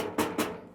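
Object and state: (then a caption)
Hollow-sounding empty basin. An empty large basin is struck twice, giving two hollow, drum-like knocks centered around 300 Hz that ring briefly before fading. The empty basin sounds hollow and pretty bad.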